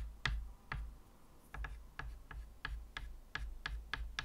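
A white chalk tip is tapped quickly and repeatedly against a medium, flat chalkboard with a wooden frame to make dots. Twelve short, dry ticks with bright clicky tops sound at an uneven pace over a steady low hum.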